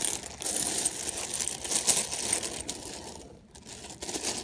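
Fingers rummage through a large loose pile of small mixed plastic and metal sewing buttons, making them clatter together. The sound is a dense, bright stream of quick clicks and rattles, almost entirely in the high range with little low end. It thins to a quieter lull near the end before picking up again.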